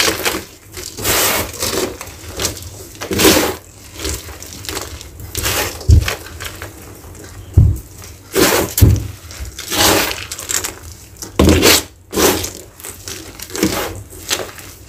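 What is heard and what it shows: Bare fingers and palms squeeze, crumble and rub small, soft, crumbly chunks of gray gym chalk (magnesium carbonate) from a loose pile of powder, letting the powder fall. Repeated soft, crunchy crumbling bursts with bright, gritty rustling and occasional dull low thumps come and go over a quiet background. The chunks break down into powder.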